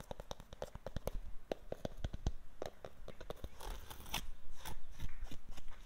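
Long black-painted fingernails and fingertips scratch and rub across a solid, rough white textured plaster or stucco wall outdoors. The result is a run of quick, dry, crunchy scrapes with sharp clicks that grow into denser, louder rasping toward the end.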